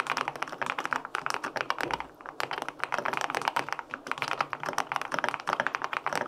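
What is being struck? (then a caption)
Aluminum-case mechanical keyboard with plastic keycaps. Fingertips type steadily on the plastic keycaps of a white-pink full-aluminum 65% mechanical keyboard with linear switches. The keystrokes are short, crisp clacks with a mid-pitched, slightly hollow tone and almost no low rumble. There is a brief pause around two seconds, and then the typing continues.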